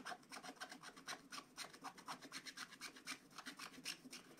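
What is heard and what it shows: A wooden stylus scratches fill into the dog's face on a flat, black wax-coated scratch-art paper page. The dense scratching comes as a quick run of dry, bright rasping strokes at about four per second, each short with almost no ring and hardly any low end.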